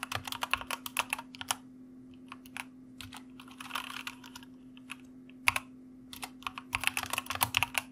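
Fingertips of both hands type on a white mechanical computer keyboard with plastic keycaps. Quick, bright clicks come in bursts separated by short pauses, over a faint steady low hum. Each keystroke is crisp and dies away almost instantly.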